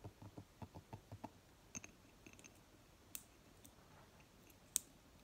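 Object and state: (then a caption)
Glass candle jar with lid. Long fingernails tap and scratch the lid top and ribbed upper rim of a small round glass candle jar with green wax, its lid on, standing on a table. A quick run of soft, dull taps gives way to quiet scratchy rasps and a few sharp, bright glassy ticks.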